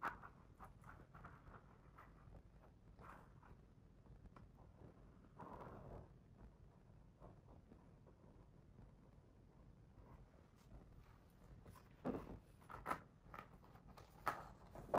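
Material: Paper.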